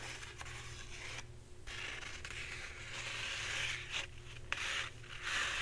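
Long red-painted nails scratch the surface of a full roll of white embossed paper towels, soft and hollow-cored, held upright and then sideways. The result is a steady, bright, dry rasping with a few brief pauses and sharper strokes, over a faint low hum.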